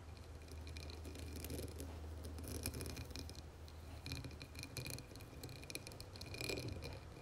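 Long nails tap and scratch a dark blue embossed glass candle jar filled with wax, resting on a marble surface. The result is a quiet stream of crisp clicks and dry, scratchy rasps with a faint glassy ring, over a steady low hum.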